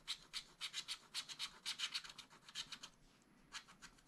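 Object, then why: Wax-coated scratch-art paper scratched with a wooden stylus. A pointed wooden stylus scratches a black wax-coated scratch-art sheet in a spiral-bound pad. About 19 short, dry, bright scratching strokes come in a quick, uneven rhythm, with almost no low end. The strokes thin out and soften toward the end.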